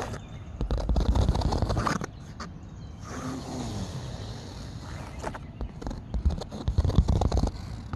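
Fingernails scratch the taut woven fabric of a grey canvas chair seat fitted with metal grommets and elastic cords, making dense, rough, low-heavy scraping bursts. The scratching is busy for the first two seconds, fades to a quieter, softer rustle in the middle, then returns in sharper, irregular strokes toward the end.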